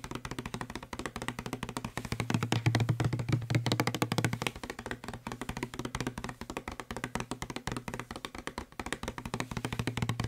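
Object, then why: Plastic spray bottle. A hollow blue plastic spray bottle, held in one hand, is rapidly tapped with the fingertips and nails of the other hand. The result is a fast, uneven stream of short, dry taps with a low, hollow resonance around 113 Hz and faint bright clicks from the nails. The tapping swells louder for a couple of seconds in the early middle, then settles back to a steady patter.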